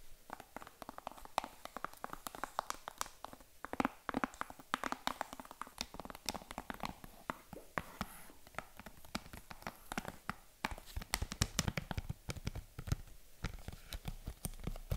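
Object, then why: Hard plastic game case. Long acrylic nails tap and scratch the surface of a closed Nintendo Switch game case of hard plastic with a printed cover insert, lying flat on a table. Rapid, dry, clicky taps come in a steady stream with almost no ring, mixed with soft scratching between them, and the sound stays quiet throughout.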